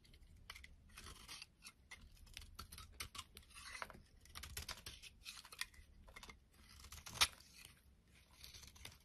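A utility knife blade scrapes and shaves a palm-sized solid pink soap bar held in the hand, with crumbled flakes falling off. The sound is a run of dry, bright, crisp scraping and crackling strokes in short bursts, with one sharper, louder snap near the end. It is quiet overall, with little low end.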